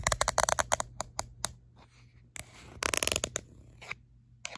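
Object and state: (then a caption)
Rubber-grip plastic phone case. Long light-blue acrylic nails rapidly tap and scratch the back of an orange-red, textured, rubberised plastic phone case held in the hand. Quick, bright, dry clicks come in irregular bursts, with a softer scratching stretch in the middle and a faint low hum underneath.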